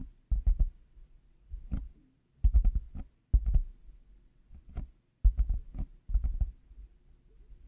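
Fingertips and nails slowly tap on black, hollow plastic over-ear headphone earcups fitted on a binaural mic. Each tap lands as a deep, muffled thump that dies away almost at once. The taps come in short, uneven clusters separated by quiet gaps.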